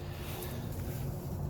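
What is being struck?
Nothing is struck.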